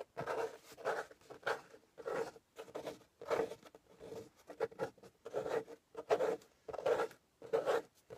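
Fingernails scratch the top and edge of a closed corrugated cardboard shipping box in short, dry, rasping strokes that come in a loose, uneven rhythm. The scratches are soft and papery, with no ring after each stroke.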